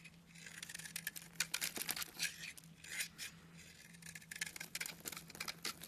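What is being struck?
Soap bar shaved with a metal blade.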